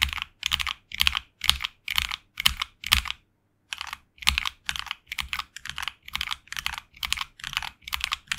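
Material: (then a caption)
Plastic. Both hands type continuously with their fingertips on a HyperX Alloy Origins Core tenkeyless mechanical keyboard with HX Red linear switches and grey and red PBT plastic keycaps, resting on a desk mat. Bright, crisp keystrokes come in quick bursts with a brief pause just past three seconds, each press dying away almost at once with a faint low thud beneath.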